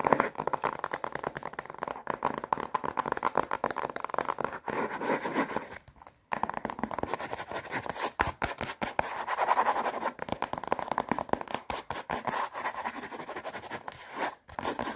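A plastic-wrapped paper watercolour pad is scratched and tapped on its front cover and edge by long nails. Rapid, dense scratching and tapping with crinkly plastic texture runs throughout, centred around 1 kHz, with brief pauses near 6 and 14.5 seconds.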